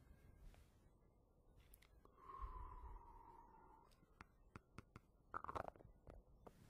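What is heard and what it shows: A small, round, green-and-yellow plastic jar of Fructis hair wax with a screw lid is held in the hand close to the microphone while fingertips and nails tap and scratch its lid and sides. A quiet, sustained scratching drone with a steady pitch around 1 kHz is followed by a scattered run of sharp, dry plastic taps and clicks, some in quick clusters, that stop dead without ringing.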